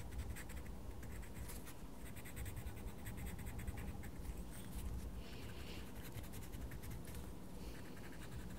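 A wooden coloured pencil scratches and colours across a page of a small paper colouring book. It makes a steady run of quiet, dry, scratchy strokes with bright rasping bursts over a low, muffled rumble.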